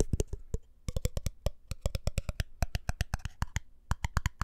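Fingertips tap rapidly on the glass body of a small empty glass jar with a black lid as it is turned in the hands. About 29 short, dry taps come in quick, uneven bursts with brief pauses. Each has a soft low thump and almost no ring.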